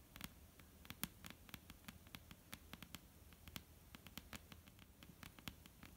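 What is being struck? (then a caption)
Wooden tabletop. Long almond-shaped painted nails tap rapidly on a flat, solid, dark-brown wooden tabletop, making about 30 quick, dry clicks in an uneven patter. Each tap is sharp and bright with a faint low knock beneath it and dies away almost instantly. The taps sit over a quiet, steady low hum.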